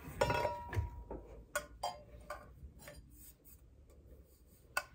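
Long painted nails scratch and rub a tall, hollow, iridescent rainbow-finish stainless steel Starbucks tumbler, giving a rasping sound. Sharp ticks and clinks ring briefly with a metallic tone near 960 Hz over a soft, low rustle.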